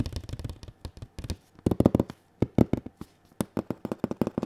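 Bare fingertips tap and scratch the printed surface of a large cardboard console box held diagonally against the body. Rapid, dry, hollow taps with a low-mid thump come in quick irregular bursts, each dying away almost instantly, with faint scratchy rustle between them.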